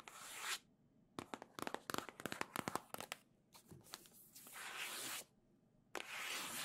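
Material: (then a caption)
Cardboard. Long acrylic nails scratch and tap the back face of a hollow, printed cardboard Nintendo Switch Legend of Zelda OLED box. A bright, hissing scratch opens the clip, then a rapid series of sharp, hollow taps follows. Further scratching builds in the middle and returns at the end.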